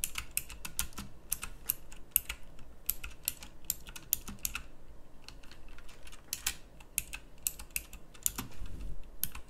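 Fingertips with long nails type on a pink backlit mechanical keyboard with round plastic keycaps. Quick, irregular bursts of sharp, bright clicks and clacks tap out at a fast typing pace over a faint low rumble. Each keystroke stops dead with almost no ring.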